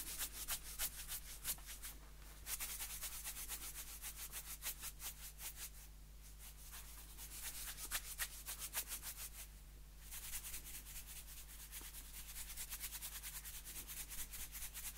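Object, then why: Plastic container lid. Fingertips rub a round blue plastic container lid, which is later turned over to its white inner face. Quick, bright scratchy strokes come in bursts with brief quieter pauses, over a steady low hum underneath.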